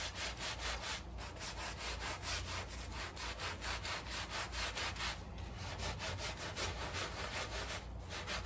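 A gloved hand scrubs a small, flat woven area rug, dark and dirty and sprinkled with cleaning powder on a tile floor, back and forth with a handheld scrub brush. Steady, rhythmic bristle strokes make a coarse, bright rasping sound over a low rumble, with short lulls between bursts of scrubbing.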